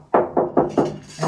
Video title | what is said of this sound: Save $30,000 dollars! DIY bathroom renovation start to finish part one | it doesn't sound hollow here